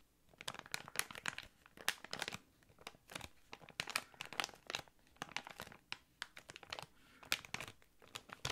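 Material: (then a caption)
Plastic. A small, thick, clear plastic packaging bag holding a card and an item is crinkled and squeezed with fingers. The result is a steady run of sharp, bright crackling bursts that rise and fall in quick clusters, concentrated in the upper range with almost no low end. Each crackle cuts off almost instantly.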